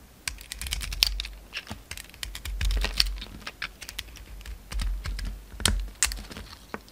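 A utility knife blade scrapes and carves shavings off a solid pink bar of soap with a dark red rim, held in the hand. A rapid, uneven run of short, dry, bright scraping clicks is heard, almost like typing, over a faint low rumble.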